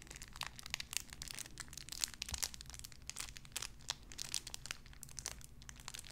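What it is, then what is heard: Crinkling plastic wrapper. A small clear plastic bag wrapped around a tiny white figurine is crinkled and squeezed between fingertips with long red nails. Dense, bright crackling crinkles come in quick, overlapping bursts with very short decay, over a faint low steady hum.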